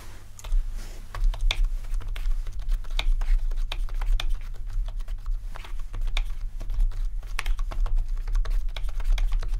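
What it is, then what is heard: Plastic membrane keyboard being typed on. Both hands type with their fingertips on a full-size, low-profile plastic membrane keyboard with RGB rainbow backlighting. A rapid, steady stream of short, dry key taps with a bright edge runs over a constant low hum.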